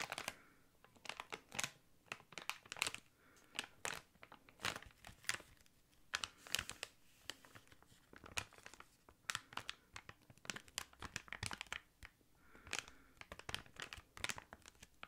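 A small, thick, clear plastic packaging bag is crinkled and scratched with fingertips and nails. It makes quiet, bright crinkling and sharp crackles in dense bursts, with almost no low end. Each crackle cuts off almost instantly.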